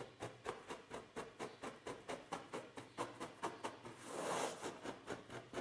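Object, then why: Sheet of paper on a table. Both hands scratch a large, thin, flat white sheet of paper lying on a table, using short fingernails and fingertips. Quick, dry scratching strokes come in a steady, slightly uneven rhythm, each a soft papery rasp. Near the end a longer, brighter hissing scrape swells up before the short strokes resume.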